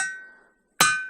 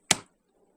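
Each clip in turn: First: suspended rock, ringing. Second: embedded rock, dull and non-ringing.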